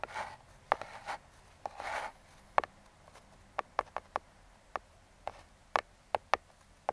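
Metal claw fingertip picks scratch and trace across the top of a small, closed brown kraft cardboard box. Two soft, raspy rubbing strokes are interspersed with about 15 short, dry, papery taps and clicks, each ending almost instantly with no ring. The sound is close, quiet, and bright-edged, centred in the mid range.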